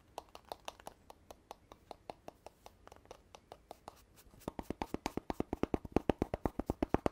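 Fingertips and nails tap and rub on an empty-looking red cardboard poster tube, apparently paper-covered, and on its telescoping joint with gold rim bands. A steady run of short, dry, hollow taps with a low-mid tone is heard. After about four seconds the taps grow louder and come faster.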